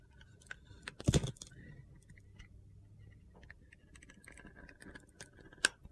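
A box cutter blade scrapes and carves the blue glitter coating off a solid bar of soap held in the hand. Quiet gritty scratching and crackling runs throughout, with a loud crunchy burst near the start and a sharp, bright click near the end.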